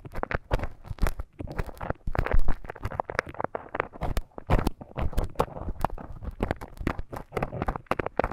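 A thin bamboo stick scratches inside the ear canal of a life-size soft silicone ear model, making a dense run of close, crackly scrapes and crunches. The sound is dominated by low thuds with short bright clicks on top, each one dying away almost instantly.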